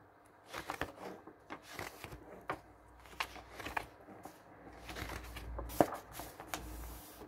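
A thick paperback catalog with glossy paper pages lies open on a wooden table while fingertips and the palm flip and flatten the pages. The pages give a soft rustling and flapping paper sound in quick, uneven bursts with short bright crinkles, and one sharper snap near the end.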